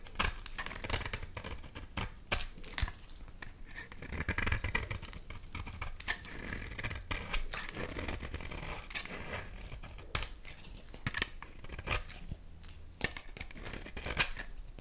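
A utility knife blade scrapes slices off a solid red bar of soap that has already been partly cut down. Repeated crisp, bright scraping and cutting strokes sound in quick succession, some sharper than others, over a faint low rumble. Each stroke stops short with almost no ring.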